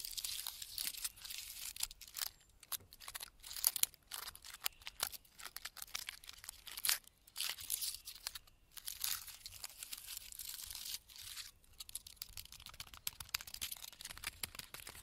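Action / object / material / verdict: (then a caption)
scrape / pine tree trunk bark / bark / none. Fingertips and nails scratch and rub the thick, rough bark of a large, solid pine trunk standing in a forest. The sound is a quiet, dry, crackly scraping made of bright, crisp, high rasps in rapid irregular bursts, separated by brief pauses, with almost no low end.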